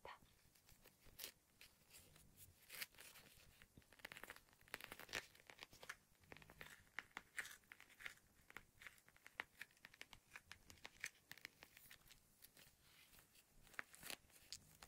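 A small, flat, pink ice pack, a clear plastic film pouch filled with frozen gel, is held in both hands and squeezed and rubbed with the fingertips. It gives a steady run of crisp, crunchy crinkling and tearing-like crackles, mostly bright and high with little low end. The crackles are quiet but sharp, with louder bursts scattered throughout.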